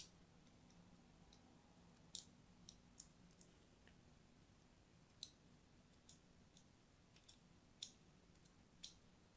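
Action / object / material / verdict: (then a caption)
scrape / bar of soap scratched with a thin metal blade / soap / none. A thin metal blade scratches lines into the surface of an orange and white striped solid soap bar held in hand. About twelve short, bright, crisp scrapes and clicks stand out, spaced irregularly over a quiet, steady hiss with a faint low hum. Each one dies away almost instantly.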